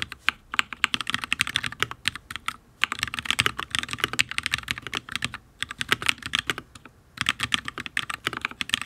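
Fingertips of both hands type steadily on a solid, full-size HyperX Alloy Origins RGB mechanical keyboard with Fire switches and ABS keycaps on a steel plate. The rapid taps are sharp, bright and clacky, with almost no low end and very short decay. They come in quick bursts separated by brief pauses.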